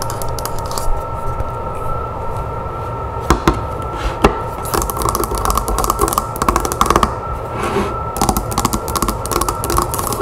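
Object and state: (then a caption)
Wooden hand mirror. Long nails tap rapidly on the back and handle of a wooden hand mirror lying face-down on a table. Dense, short, dry clicks with a low, full body run throughout over a faint steady tonal hum, with a few sharper taps standing out.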